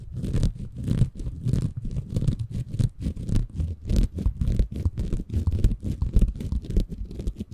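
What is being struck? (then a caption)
Bamboo fiber sponge. Fingertips scratch and squeeze a small, soft, compressible green porous bamboo fiber sponge held in both hands above a Tascam recorder. The result is an irregular run of close, rapid scratchy crackles and muffled squishes, heavy in low-end rumble with brief bright crackling flecks on some strokes.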